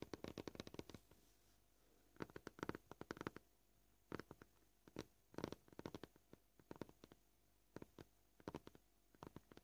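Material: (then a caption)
Plastic. A fingernail taps on a scratched white plastic cutting board in quick bursts separated by short pauses, at a gently varying pace. Each tap is a soft, dry, short click with a mid-range body and almost no ring.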